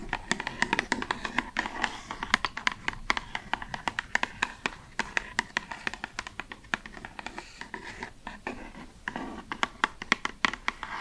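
A hollow, pale pink cardboard cosmetic box held in the hands is tapped and scratched with long red nails. Quick, dry, bright taps come in an irregular stream, with soft scratchy rustling between them. Each tap dies away almost instantly.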